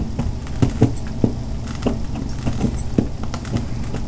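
A metal butter knife scrapes and shaves flakes from the cut edge of a partly cut, solid white bar of Dove soap held on a table by one hand. Nine short, dull scraping strokes stand out over a steady low, soft rustle, with little brightness and almost no ring after each stroke.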